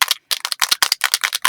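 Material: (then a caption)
Metal. A metal can of white spray paint, separated from sitting unused, is shaken hard so the mixing ball rattles inside. A quick run of sharp, bright metallic clacks follows, with a short gap near the start, showing the ball is moving freely again.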